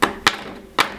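A failed 3D print made of Bronzefill (PLA filament with bronze powder) is tapped three times, each producing a short, bright, metallic knock with little low end and a quick decay. The print sounds solid and metallic rather than hollow like a plain PLA print.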